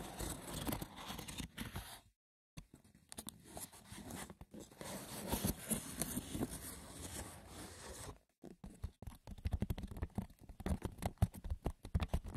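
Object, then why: Woven wicker basket. Fingers scratch and tap the rough, textured woven surface of a wicker basket, with no talking. A dense patter of light, dry clicks and scratchy rasps runs throughout, broken by two brief silences near 2 and 8 seconds, and ends in sharper, more distinct taps.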